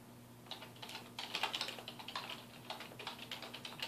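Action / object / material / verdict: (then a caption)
tap / plastic computer keyboard / plastic / none. Fingertips of both hands type on a black plastic computer keyboard resting on a wooden desk. A quick, uneven run of short, bright key taps clatters with almost no ring, over a faint steady low hum.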